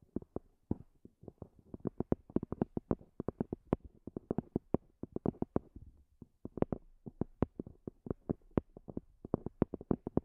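Long fingernails tap about fifty times on the top of a small black zippered EVA hard-shell earphone case, a hollow semi-rigid shell with a fabric cover. The quiet, quick clicks are dull and low-mid with no ring, coming in irregular bursts with brief pauses.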